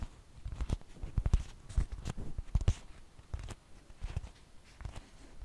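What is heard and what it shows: A large, thin flour tortilla held in both hands is tapped with long fingernails and fingertips. It produces a quiet, irregular patter of soft, dull low thumps, some with faint bright ticks. Each tap dies away almost instantly.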